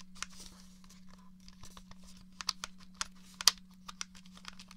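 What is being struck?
Plastic game controller.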